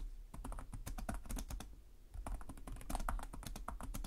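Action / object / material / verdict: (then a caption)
tap / plastic laptop keyboard / plastic / none. Fingertips with short nails type continuously on the plastic chiclet keyboard of a black laptop resting on a desk. Rapid, clicky key taps come in quick bursts, with a brief pause near the middle before the typing picks up again. A steady low hum runs underneath.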